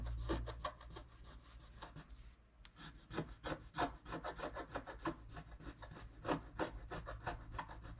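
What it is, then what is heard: Scratch-art card scraped with a wooden stylus. A wooden stylus scrapes the wax coating off a flat scratch-art card (wax-coated paper) in vertical strokes, carving out a tree trunk. Quick, raspy scratching strokes repeat about three times per second, with a brief pause just after the two-second mark. A steady low hum runs underneath.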